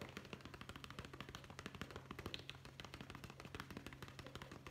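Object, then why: Small leather zippered pouch. Fingertips tap quickly on a small, soft, hollow brown leather zippered pouch held in both hands. The result is a fast, steady stream of short, dry, papery taps with bright clicks over a low, constant hum.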